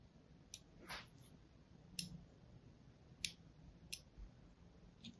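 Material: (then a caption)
Soap. A thin metal needle or blade scratches and cuts grooves across the already scored surface of a solid green-and-white striped bar of soap held in the hand. Six short, bright, crisp scraping clicks sound at irregular intervals over a quiet low background hum.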